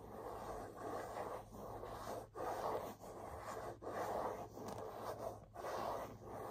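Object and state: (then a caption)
Leather handbag scratched with fingernails. Fingernails scratch back and forth across the leather front panel of a burgundy leather half-moon bag. The result is a soft, raspy rustle centred in the midrange, with rhythmic strokes separated by brief quiet gaps.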